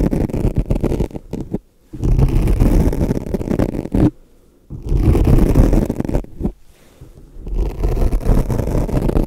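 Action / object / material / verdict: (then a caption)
scrape / foam microphone windscreen scratched with a metal pick / foam / none. A thin metal pick or pair of tweezers, held in a hand with long nails, scratches and pokes the surface of a soft, porous, fist-sized black foam microphone windscreen. The result is dense, muffled scratching and rumbling, heavy in the low end with almost no bright content. It comes in three long bursts separated by short near-silent pauses.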